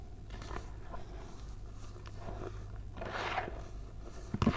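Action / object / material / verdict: scrape / pile of packed baking soda powder / baking soda / none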